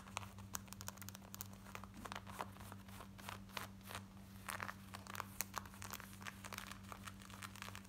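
Long nails scratch fast over the waistband, side and back of worn black denim jeans, making quick, bright, rasping scrapes. The strokes come in a rapid, uneven run over a steady low hum.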